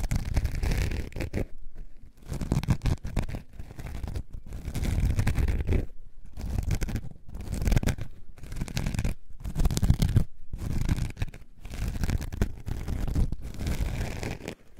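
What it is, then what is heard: Foam sponge scratched. A solid, soft, coarse-pored orange foam sponge block is held in the hand and scratched with long dark-painted nails. The result is a dense, low, rumbling scratching texture in steady bursts, broken by brief near-silent pauses between strokes.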